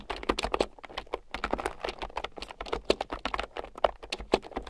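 A red plastic keyboard with round, typewriter-style plastic keycaps, lying on a fur rug, is typed on rapidly with fingertips and long nails. The result is a steady stream of short, sharp, clicky taps, centered in the midrange with bright edges and almost no ring after each key.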